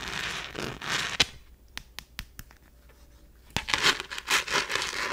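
Long nails scratch across the rough glitter surface of a small, thin, empty rose-gold glitter-textured plastic phone case. Dense, bright scratchy crackling drops to near silence broken by five sharp ticks, then resumes with loud gritty strokes.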